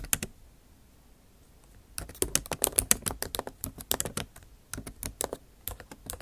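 Tips of long acrylic nails type on the bare plastic keys of a MacBook Pro backlit keyboard set in an aluminum body. A few quick taps open the clip, then after a brief quiet stretch an irregular run of sharp, bright clicks follows, each dying away almost instantly.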